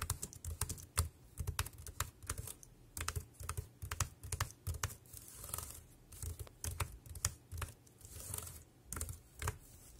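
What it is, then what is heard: Plastic wireless keyboard being typed on. Fingertips type rapidly on the round keys of a dark grey plastic Bluetooth keyboard with a hollow body, resting on a black plastic bag. The result is quick, irregular bursts of short, dry clicks, each with a hollow low thump beneath a bright clack, separated by brief pauses.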